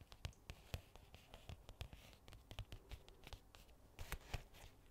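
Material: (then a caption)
Faux leather. Long nails scratch and tap a medium-sized, hollow black hard-shell case with a faux leather cover, held in both hands. Quick, dry clicks and taps land in an irregular stream over soft scratching, each with a dull low thump and a bright crisp edge that dies away almost at once.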